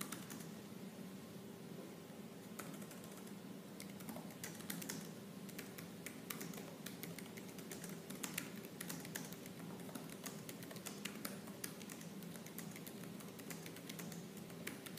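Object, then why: Laptop keyboard with plastic keys. Fingertips with purple nails type fast and hard on the black plastic keys of a silver laptop keyboard. A dense, steady stream of crisp, bright clicks runs the whole time over a faint low hum, each tap dying away almost instantly.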